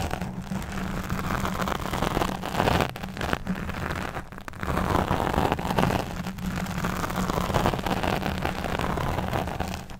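A black fuzzy foam windscreen on a microphone is scratched around its sides by the long nails of both hands. The result is a continuous dense, rumbling crackle, heavy in the low end, that swells and dips in waves over about ten seconds.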